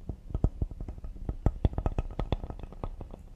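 Fingertips and nails tap fast across the face and edge of a solid cedar serving board held upright. About twenty quick, dull, low wooden knocks follow one another over a few seconds, each dying away almost at once with only a faint bright click on top.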